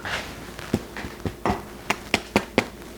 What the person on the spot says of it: Not quite hollow, maybe it could have done with a bit longer.